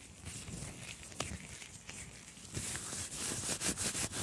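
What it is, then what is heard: Microphone mesh grille rubbed with gloved fingers. Fingers in black nitrile gloves rub and tap the round, hollow metal mesh grille of a microphone, cupped in both hands. The result is close, scratchy rubber-on-metal friction with soft low thumps and bright crackling. It grows louder and busier in the second half.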